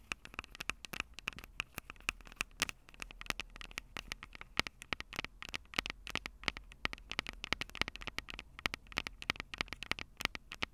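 Long purple fingernails rapidly tap the two small metal-mesh condenser capsules on top of a Tascam DR-05 handheld recorder with a black plastic body, the same recorder capturing the sound. Dense, sharp, dry clicks and crackles patter irregularly over a faint noise floor, with a bright resonant tone around 2.2 kHz and little low end.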